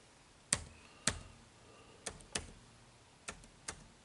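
Fingertips tap the dark plastic keys of an HP laptop keyboard, producing six sharp, bright clicks spaced irregularly over about four seconds. Each click fades quickly against a quiet background.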